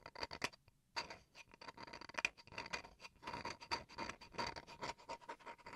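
Fingernails scratch the grained face of a small, solid bamboo wood chopping board held upright. Quick, dry, bright scratching strokes follow one another, with a short pause near the start. Each stroke is crisp with almost no ring after it.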